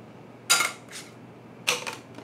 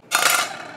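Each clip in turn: First: Light, dry clicks with almost no ring: a plastic card clattering on a hard surface. Second: A single bright metallic clink with a ringing tone near 1.4 kHz, the sound of a metal card.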